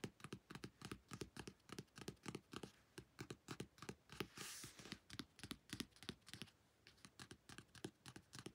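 Fingernails tap quickly and unevenly on a newly bought paperback novel, *The Messy Lives of Book People*, making about 48 short, dry clicks at roughly three per second. A brief soft hiss interrupts the tapping around the midpoint.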